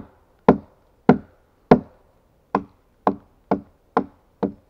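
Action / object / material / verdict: strike / pine log struck with an axe / pine wood / none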